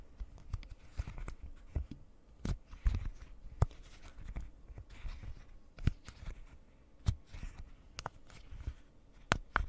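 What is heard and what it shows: Long painted nails tap and scratch a pastel rectangular silicone pop-it fidget toy with hollow bubbles. Sharp, quick taps with a dull low thud land irregularly over soft scratchy rustling between them. Each tap dies away almost instantly, keeping the sound quiet and close.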